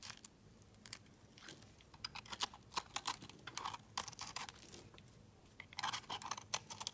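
A knife scrapes crumbly shavings off the surface of a solid oval yellow soap bar held in the fingers. Short, dry, crisp scraping and crunching bursts come in irregular clusters, bright and airy with almost no low end. They are separated by quiet pauses and end with no ring.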